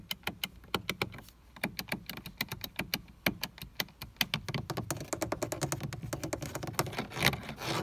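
Fingertips and nails tap and press the four window switch buttons on a grey, hollow molded plastic car door armrest panel and grip the panel. The result is a quick run of sharp, bright plastic clicks and taps, each dying away almost instantly. The taps are evenly spaced at first, then crowd into a denser, rustling patter of presses and grips.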